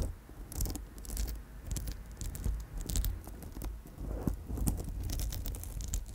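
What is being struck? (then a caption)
Amethyst chip bracelet on wire. A purple amethyst chip bracelet on gold wire is held up and tapped and scratched with long chrome nails. Light, irregular clicks and scraping crackles come in scattered bursts over a low rumble.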